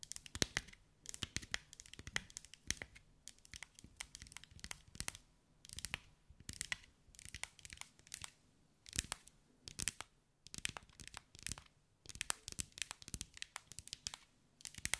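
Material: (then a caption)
Glass. Long white acrylic nails tap and scratch over a hand-sized sphere covered in small green mirrored glass mosaic tiles, held in the hands. Rapid bursts of sharp, bright clicks and crackly scratching come in clusters separated by brief quiet gaps. Each tick is dry and cuts off almost instantly, with little low end.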